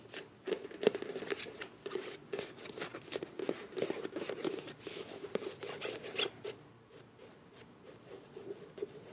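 Long nails rub and scratch the front and back of a filled beige plastic face wash tube with a bronze cap. Irregular, quick scratchy strokes give dry, bright rasps over a soft mid-pitched hum of the plastic. The scratching grows quieter and sparser toward the end.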